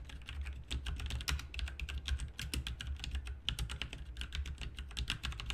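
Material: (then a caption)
Plastic. Both hands type continuously with the fingertips on a full-size, backlit plastic mechanical RGB computer keyboard with plastic keycaps, resting on a desk. Rapid, crisp key clicks and clacks run together in a steady stream over a constant low hum.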